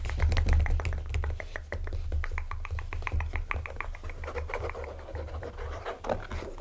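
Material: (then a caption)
Leather. Fingertips and nails tap and scratch the smooth leather uppers of a pair of small, cherry-red Dr Martens kids boots, laced, hollow and empty, standing on a table. The result is a quick, irregular run of soft, dull taps and brushing scratches over a steady low rumble.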